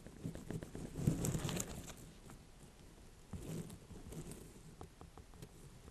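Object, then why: Small ornamental pumpkin. A small ribbed orange-and-cream ornamental pumpkin with a firm rind is held and turned in the hands and tapped with long nails. Soft, low, hollow thuds mix with rustling handling noise and brief bright clicks of nail on rind, loudest early on and then settling into quieter, irregular tapping.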